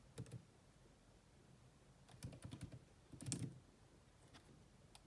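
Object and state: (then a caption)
Plastic laptop keyboard being typed on. Long manicured nails and fingertips rapidly tap the dark plastic chiclet keys of a grey laptop with a hollow body. The quiet, short clicky taps have a low, thumpy body and bright top edges, coming in brief flurries separated by pauses.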